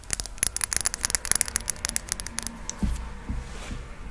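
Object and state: Glass perfume bottle.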